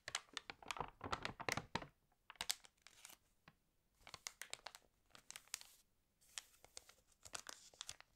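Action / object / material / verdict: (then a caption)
scrape / glossy paper magazine / glossy paper / none. Long nails tap and scratch on an open, water-damaged glossy paper fashion magazine, and a page is turned. Quiet, bright crinkling and crackling comes in dense bursts of quick, dry ticks, with short near-silent pauses around the two- and six-second marks.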